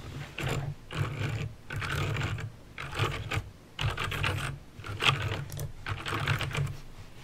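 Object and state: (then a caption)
Plastic mechanical keyboard. Fingertips with painted nails type slowly on a full-size backlit plastic mechanical keyboard with plastic keycaps and clicky green switches. Short bursts of sharp, bright clicks over a low clacking thump are separated by brief pauses, with no lingering ring.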